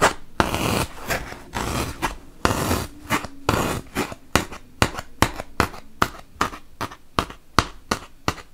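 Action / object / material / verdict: tap / melamine foam block poked with a wooden toothpick / melamine foam / none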